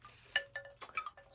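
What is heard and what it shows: A thrifted coconut shell wind chime shaped like a crane with bobble-head babies is jangled. About five quick clacking chimes ring out, with short, bright, hollow tones that fade almost at once.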